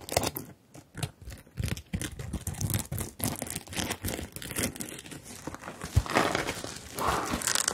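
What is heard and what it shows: Fingertips and long nails rub and flip the plastic sequins on a rainbow sequin zippered fabric bag, making the colours change. A steady run of dry, crinkly scratching and rustling is heard, with quick bright clicks and soft thumps as the sequins flip over.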